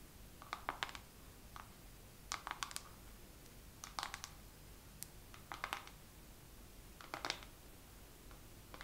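Fingernails tap slowly on a makeup palette in a second round of tapping, with no talking. Short, bright, clicky taps come in loose clusters at an irregular pace, with quiet pauses over a low, steady background hiss.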